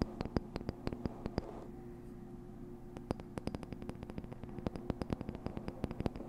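Long nails scratch and tap a small, colorful printed cardboard box that appears hollow, held close to a fluffy microphone before it is lifted up. Dozens of quick, dry clicks with bright edges are heard, pausing briefly for softer scratching in the middle. A low, steady hum runs underneath throughout.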